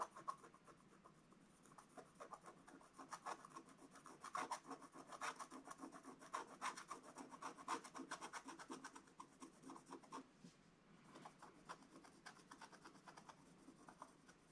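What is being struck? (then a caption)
Wax-coated scratch-art paper scratched with a wooden stylus. A wooden stylus scratches continuously across the dog's hat area on a flat, black wax-coated scratch-art paper page. The sound is a quiet, dry rasping made of rapid, uneven strokes with a faint papery edge, each scrape short with no ring. It eases slightly toward the end.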